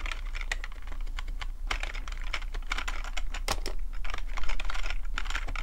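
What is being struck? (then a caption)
Plastic computer keyboard. Both hands type with their fingertips on a black plastic computer keyboard. The key clicks are quick, bright, and irregular, and they run continuously over a steady low hum.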